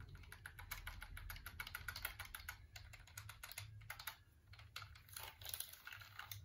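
Fingertips and nails press and click the keys of a full-size, hollow black plastic computer keyboard held up close. Rapid, irregular typing clicks patter continuously with short, bright clacks and a low hollow rumble underneath.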